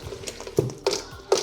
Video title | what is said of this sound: The Best Korean Fried Chicken Wings... Without Frying? | even though we put sauce in you can hear uh how crispy they still are